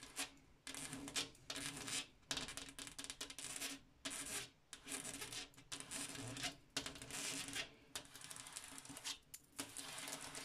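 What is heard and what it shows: Fingernails tap rapidly on a glass mirror, making bright, dense clicking and scratchy rubbing sounds. The tapping comes in bursts broken by brief pauses, with a faint steady low hum underneath.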